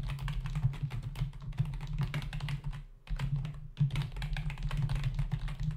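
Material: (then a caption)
Plastic. Both hands type with their fingertips on a black plastic membrane computer keyboard resting on a desk, its hollow body and plastic keys giving a rapid, uneven stream of soft tapping clicks. A steady low drone runs underneath, and the typing pauses briefly around the three-second mark before resuming.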